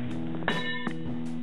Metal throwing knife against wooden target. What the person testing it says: that means I hit it with the blade